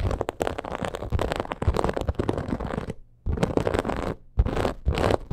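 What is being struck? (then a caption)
Embossed leather purse scratched and tapped with long nails. Long acrylic nails rapidly scratch and tap the surface of a hollow, black crocodile-embossed leather purse. The result is dense, crackly scratching with soft, dull taps, mostly low and muffled. It comes in continuous bursts broken by two brief pauses.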